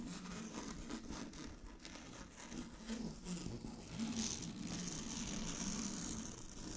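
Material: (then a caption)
Satin. Long glittery fingernails scratch a large, flat sheet of shiny blue synthetic satin fabric, making a continuous scratchy rustle with a soft crinkling texture. The steady bright hiss grows louder and brighter partway through and then holds at that level to the end.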